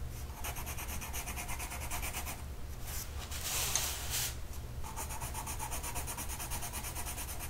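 A blue colored pencil tip is rubbed across a flat printed mandala coloring sheet of paper lying on a table, held down by one hand. Steady, rhythmic scratchy strokes produce a bright, papery hiss over a constant low hum, with a brief louder, brighter burst of scribbling in the middle.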